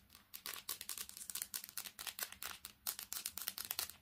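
Long painted nails tap fast and aggressively on a smartphone's glass screen and metal edges while the phone with a metal back is held in both hands. The result is a rapid, uneven stream of sharp, bright clicks and ticks with almost no low end, each dying away almost instantly.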